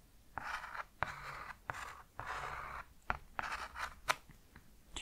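The tip of a thin paintbrush is pressed to a flat sheet of thick watercolor paper, painted with a picnic and afternoon-tea scene and resting on a dark starry mat, and traced and scratched across it while fingertips steady the sheet. Dry, papery scratching strokes centered in the midrange swell and fade, broken by short, sharp ticks with a bright edge.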